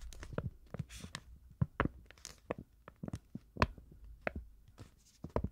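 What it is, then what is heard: Printed paper card. Long nails scratch and tap across the surface and edges of a small, thin, rectangular printed paper card with a farm picture, held in both hands. The result is an irregular series of short, dry clicks and crackly scrapes with bright crisp edges over a soft low rumble, each sound dying away almost instantly.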